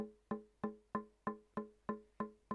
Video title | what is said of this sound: Tap tone básico: cómo implementarlo. Análisis de frecuencia en Audacity y Adobe audition | si empiezo a golpear en otra zona por ejemplo acá también pierdo la sensación de nota